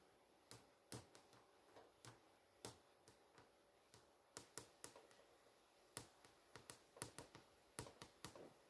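Long nail tips tap and trace across a flat, solid glass touchscreen display showing the HBO GO menu, moving along the top menu and the posters. Twenty-three quiet, sharp, clicky taps land at irregular intervals; each decays almost at once over a soft, steady hiss.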